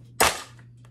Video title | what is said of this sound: Vlog: romanticizing my time alone - drive with me + unboxing packages | that's how it sounds empty without anything in it